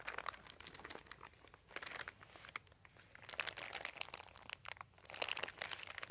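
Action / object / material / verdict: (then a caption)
scrape / thin embossed plastic sheet / plastic / none. A crumpled, thin white embossed plastic sheet with a dotted texture lies on carpet while both hands press and crinkle it with their fingertips. The result is dense, bright, crisp crinkling and crackling that comes in uneven waves of quick, sharp snaps, with almost no low end and no ring after each snap.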